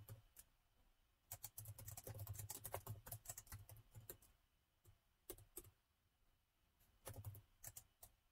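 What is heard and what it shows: A plastic laptop keyboard is typed on with the fingertips of both hands, producing quick, irregular bursts of key taps separated by short pauses. Each tap is a short, dry click with a bright edge over a soft low thud, dying away almost at once.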